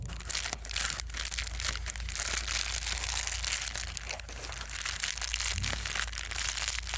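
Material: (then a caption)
Plastic. A small folded sheet of plastic bubble wrap is squeezed and crinkled between the fingertips of both hands. Dense, bright crinkling and crackling runs steadily for the whole clip, with sharper snaps scattered throughout over a faint, constant low hum.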